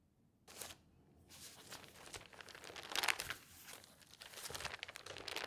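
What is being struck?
Newspaper, newsprint paper.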